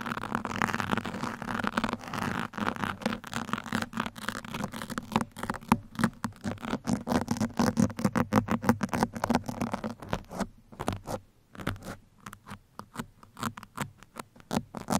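Two metal pins scratch across a black foam microphone windscreen, making a dense, rapid, crackly rasp with a low, throaty undertone. The strokes run close together at first, then become sharper and more spaced out with short silences between bursts toward the end.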